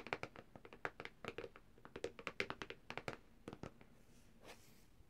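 Long dark nails on both hands tap rapidly and irregularly on the thin, hard plastic back cover of a black Samsung tablet lying flat on its back side. About two dozen short, crisp clicks sound with a bright, hollow plastic tick and almost no ring. The tapping stops near the four-second mark, leaving a faint soft swish.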